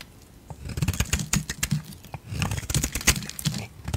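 A metal blade shaves curls from the edge of a solid yellow bar of soap held in a hand with long decorated nails. Crisp, dry scraping cuts come in two bursts, each with bright crackly attacks over a low, soft thud.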